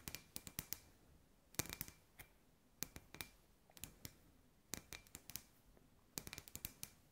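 Long white nails tap a hand-sized, hollow, clear glass sphere lamp with fairy lights inside, making about 26 sharp, bright clicks in irregular bursts. Each tap is short and dry with almost no ring, separated by quiet gaps.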